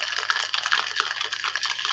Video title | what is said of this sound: Election night live stream | there you get your nice rattling noise from shaking it